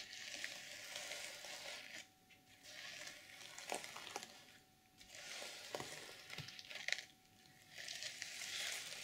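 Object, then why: Plastic sequin fabric cover. Long purple nails and fingertips slowly brush and scratch the plastic sequins of an open reversible sequin fabric journal cover, flipping them from silver to black. Heard as bright, hissing, sizzle-like rustling in sweeping passes, with short quiet gaps between strokes and a few sharper clicks.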